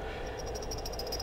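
A reassembled steel AK-47 rifle bolt is bumped after cleaning, and its firing pin shifts inside it with faint, light metallic clicks over a steady low background hum. The clicking shows the firing pin moves freely and is not stuck, as it should be.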